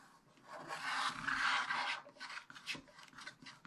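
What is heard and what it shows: A wooden stylus scratches wide strokes across the upper middle of a black-coated scratch-art page in a spiral-bound book. A dry, raspy scrape swells into a long bright stroke, then breaks into shorter, quieter scratches.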